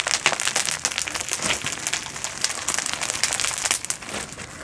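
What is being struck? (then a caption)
Foam bead slime. A single blob of glow-in-the-dark foam bead slime, glowing under UV light, is squeezed and kneaded between two hands with long nails. The beads give off a dense, continuous run of bright, crisp crunches and pops, with a sticky crackle that stays high with almost no low end and eases off slightly toward the end.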